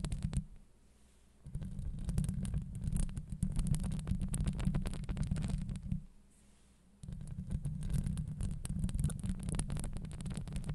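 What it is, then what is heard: Metal mesh microphone grille being scratched. Long acrylic nails rapidly scratch a hollow steel wire-mesh microphone grille up close, producing a dense, muffled, low rumbling scrape with fine crackly texture. The scratching comes in long bursts separated by two brief quiet pauses, with nearly all of its energy in the deep bass.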